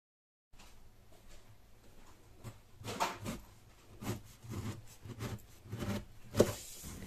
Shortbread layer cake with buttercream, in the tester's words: You can hear how crispy this cake is when you cut it. It doesn't turn into mush at all